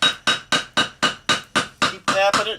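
A hammer taps a concrete block along a line to split it, giving ten sharp, bright taps in a steady rhythm. The last taps change in sound, turning longer and more rattling, which shows the block is cracking so a piece can be broken off for fill.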